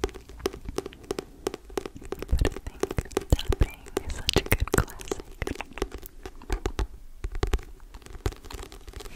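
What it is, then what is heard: Paperback book. A thick, solid paperback book with a paper cover, held close to the microphone, is tapped and scratched on its cover and spine with long painted nails and fingertips. Quick, dry clicking taps and scratchy, crinkly rustles come in an irregular stream over a soft low thump. Each tap dies away almost instantly.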